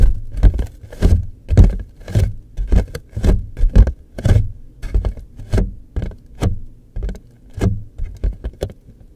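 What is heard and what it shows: Fingertips and nails tap and scratch along the top and sides of a hollow, rectangular printed cardboard tissue box with a floral pattern, held close. The result is an uneven series of soft, low, hollow thumps, each with a brief bright scratchy edge. They come at a loose, irregular pace of just under two per second and die away almost instantly.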